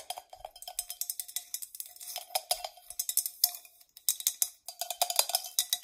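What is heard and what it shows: Long nails tap and scratch the dimpled outer surface of a hollow, medium-sized hammered copper mug. The result is a fast, uneven run of bright, clicky taps with scratchy texture, each carrying a brief metallic ring around 700 Hz. There are a few short pauses between bursts.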